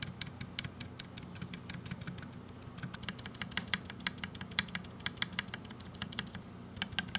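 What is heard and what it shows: Fingertips type on a 60% mechanical keyboard with a black case, white, lilac and blue GMK Firefly plastic keycaps, linear switches and stabilizers, lying on a white desk, tapping keys including the spacebar and modifier keys. A steady run of short, dry, bright clacks sits over a low, constant hum, with a few louder thocks toward the end.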